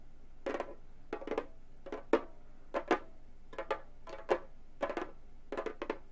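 Long gold metal finger claws tap on a hollow, round Remo frame drum with a synthetic head, with one hand at the end. Short clusters of quick taps repeat steadily, each a dry, mid-pitched thump with a bright clicky edge. The taps die away almost instantly over a faint low hum.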